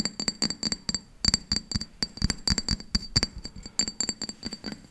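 A glass object is tapped rapidly, giving a quick, uneven run of short, bright clinks. Each tap decays almost at once, with a steady high ringing tone and a faint low thump underneath.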